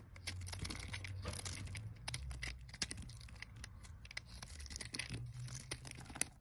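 A solid, pale green square bar of olive-oil soap is held in the hand and carved with a metal box-cutter blade, with flakes piling up below. Crisp, bright scraping and crunching cuts come in quick, dense bursts over a steady low rumble. Sharp little snaps stand out along the way.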